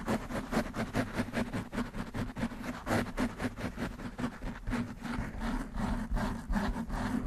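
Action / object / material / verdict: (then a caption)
scrape / foam microphone windscreen / foam / none. Long nails quickly scratch and rub the black foam windscreen on a desktop microphone. The result is a dense, muffled, uneven stream of rustling, crackling strokes that is heavy in the low end, with a steady low hum underneath and almost no bright content.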